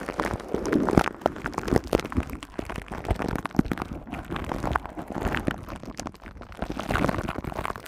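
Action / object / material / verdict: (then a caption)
scrape / woven metal mesh microphone grille / metal mesh / none. Long nails scratch across the silver woven metal mesh head of a hollow, hand-sized studio microphone. The result is a dense, continuous run of close, crackly scraping and tapping with a warm low-mid body and little high end. Sharp clicks and brief swells rise and fall throughout.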